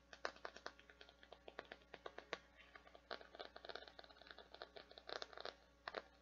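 Long painted nails scratch and tap a hand-sized, thin, flexible translucent teal plastic or silicone flower-shaped bath scrubber with petals and a white center disc. Quick, dry clicks and scratchy taps come in irregular bursts, with a bright, crackly texture and almost no low end. Each tap dies away almost instantly.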